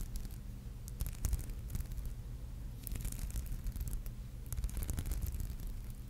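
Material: Glass beads.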